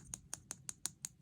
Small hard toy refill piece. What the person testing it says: It's hard and it sounds hollow, but it is not hollow, but that's how it sounds.